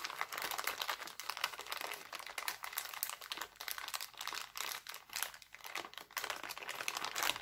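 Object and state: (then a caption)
Cellophane bag crumpled. Hands twist and crumple a thin, empty, clear cellophane bag printed with hearts, giving a dense, continuous run of sharp, bright crinkles. The crackle is thin and crisp, sitting mostly in the high range with no low end, and each crackle stops almost instantly. The level rises and dips in uneven surges as the plastic is worked.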